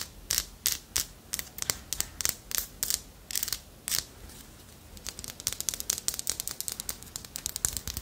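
A small, solid carved wooden armadillo figurine has its ridges and tail scratched and tapped with long nails. For the first four seconds the sound comes as slower, separate bright scrapes. After that it becomes a quicker run of short, dry, high taps and scratches with almost no ring.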